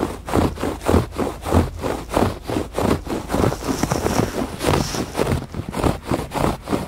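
Fingertips and nails scratch back and forth across a thick woven fabric rug on a porch. The result is a steady, rhythmic series of dry, rustling rasps that swell and fade at a moderate pace, with most of the sound sitting in the low and middle range and little brightness on top.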